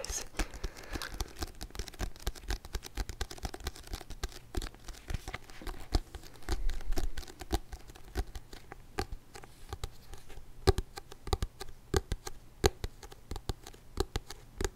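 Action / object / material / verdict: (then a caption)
tap / thick paperback book with a glossy card cover / card / none. Fingertips and nails tap on the solid, glossy card front cover of a thick paperback book, giving dense, soft, dry taps with almost no ring. The tapping runs steadily with a faint low hum underneath.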